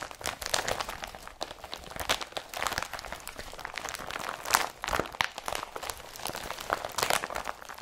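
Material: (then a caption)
Polypropylene. A blue woven polypropylene IKEA BRATTBY carrier bag is crumpled by hands and scrunched with fingertips. The result is a steady stream of dry, crunchy crinkling and rustling, bright and papery with almost no low end, and louder crackling bursts rise out of the texture now and then.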